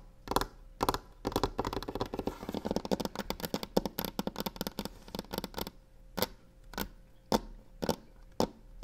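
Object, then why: Varnished wooden table top. Long nails tap and scratch with both hands on a solid varnished wooden table top, while the box beside them is left untouched. Sharp, dry clicks start sparse, build into a dense rapid flurry of taps and scratches, then thin out again to single spaced taps. A faint steady hum sits underneath throughout.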